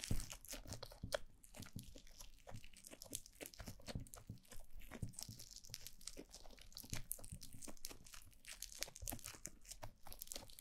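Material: Foam beads.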